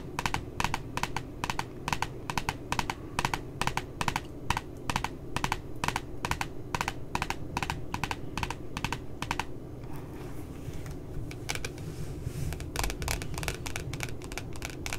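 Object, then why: Cardboard notebook cover. Long nails tap rapidly on the glossy cardboard cover of a puppy notebook, making sharp, bright clicks over a steady low hum. The taps come in quick, even bursts, thin out briefly past the middle, then resume.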